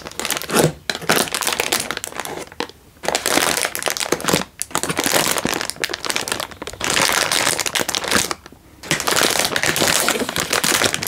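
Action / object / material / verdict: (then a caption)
scrape / plastic instant noodle packet / plastic film / none. A single full Indomie instant noodle packet in a crinkly plastic wrapper is held in one hand and crinkled with the fingertips. Dense, bright crackling and crinkling comes in several long bursts, separated by brief quiet pauses.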